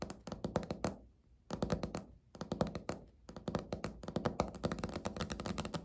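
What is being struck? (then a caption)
Laminate countertop tapped with fingernails. Natural fingernails of both hands tap rapidly on a flat, solid, speckled beige laminate countertop. They make quick runs of short, dry, clicky taps centered in the low-mids, with almost no ring. The runs are broken by brief pauses near 1 and 3 seconds before the tapping resumes and continues steadily to the end.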